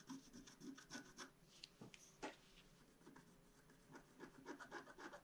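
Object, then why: Black-coated scratch-art card scratched with a wooden stylus. A wooden stylus scratches across a flat black-coated scratch-art card in quick, uneven strokes. Each pass makes a soft, dry rasp with bright high hiss and little low end. Short quiet gaps fall between bursts of scratching.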